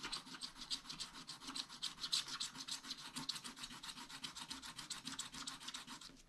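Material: Coated paper.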